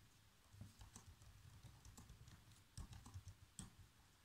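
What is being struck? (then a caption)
Plastic laptop keyboard. Bare fingertips with short nails type continuously on a black plastic laptop keyboard, tapping out a script. The quiet, rapid taps are mostly soft, low thuds with faint bright clicks on top, and each one dies away almost at once. A few presses land noticeably harder than the rest.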